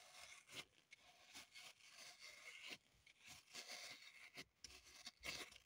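Long pointed nails scratch and dig into the surface of a small solid block of green floral foam (phenolic foam) held in the hand, with crumbs on the table. Bright, dry, crackly scraping strokes come in repeated bursts, with brief pauses between them. The sound is almost entirely high and hissy, with very little low end.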